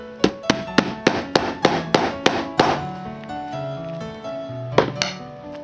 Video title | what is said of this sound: kimie ganigiの 固まった絵の具の再生（エコロジー） | カラカラと音がするようになります